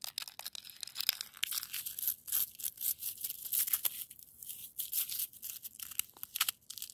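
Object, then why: Frozen snow and ice crust. Long almond-shaped nails scratch and rake across a granular crust of frozen snow and ice. The result is a quick run of dry, crunchy, bright scratching bursts with no low end, each short and quickly gone.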